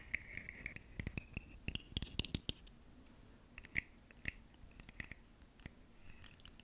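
A ribbed, segmented purple plastic articulated fidget slug toy is scratched and tapped along its segments with long nails, held close to the microphone. Quick, dry clicks and scratches with bright, high ridges come in clusters, with a quieter stretch in the middle.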